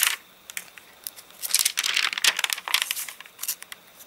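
Both hands lift, crumple and turn the stiff, crinkly pages of an open, rain-warped, rain-dried paper catalogue with their fingertips. Bright, dry crackling bursts come in uneven clusters, with almost no low end and no ring after each crinkle.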